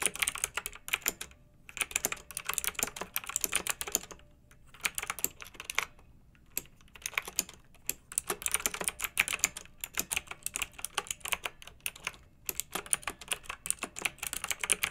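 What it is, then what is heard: Plastic mechanical keyboard being typed on. Both hands with long nails type on a pink plastic retro mechanical keyboard with round, backlit keycaps. Fast bursts of bright, sharp clicks and clacks are separated by brief pauses. Each keystroke is short and dry, with almost no low end.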